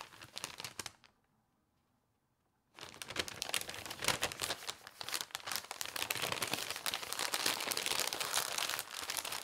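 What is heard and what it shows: Hands with long nails roll, fold and rub the pages of a thin paper newspaper spread on a table while wrapping glasses and cups. Dense, bright crinkling and crumpling with soft rustles is followed by a brief near-silent pause. The crinkling then resumes more steadily and slightly louder until the end.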